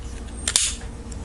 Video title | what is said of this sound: Gold Standard Knife Locks Tag Response | No rattle if you tap on the button, like there's no like rattle or anything in there